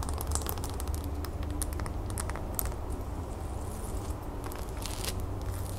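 Long fingernails on both hands rapidly tap and scratch a tall, solid cream wax pillar candle with a raised gold lace pattern, standing on a gold base. Quick, light clicks and dry scratchy ticks patter continuously over a steady low hum.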